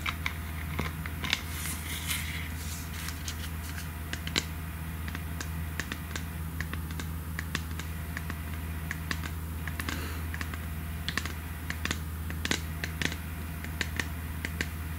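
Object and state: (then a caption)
Plastic pump bottle. Long red nails tap rapidly on the sides and pump head of a hollow, printed plastic pump bottle, making dozens of quick, sharp, dry clicks that die away almost instantly. The taps come in an uneven stream over a steady low hum.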